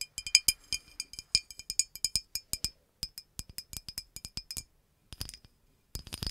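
Long acrylic nails tap the neck and body of a green glass bottle with a red cap. The taps make quick, bright glassy clicks with a thin, high ring that dies away almost at once. They come in an uneven run, then stop briefly before two short bursts at the end.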